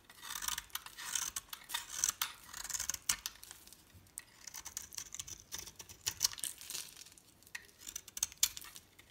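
A metal blade scrapes and shaves thin curls off the top of a solid light-green soap bar with a pink bottom layer, held in the palm. Quiet, bright, crisp scraping bursts come in quick clusters, with almost no low end and very short decay between strokes.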